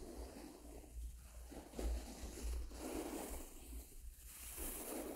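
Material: Nothing is struck.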